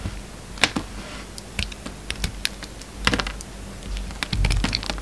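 A utility knife blade shaves curls off a solid peach soap bar with red edges held in the hand. It makes a run of short, crisp, bright scraping clicks with very little ring, over a steady low hum.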